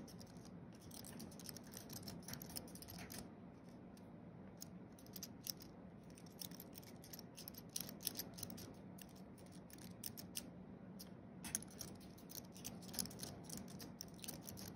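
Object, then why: Thin aluminium-based keyboard with plastic keys. Fingertips of both hands tap quickly across the white plastic keys of a thin wireless keyboard with a flat aluminium base, typing. The result is a quiet, rapid stream of short, dry, bright clicks over a low, steady background hum, with brief pauses between bursts.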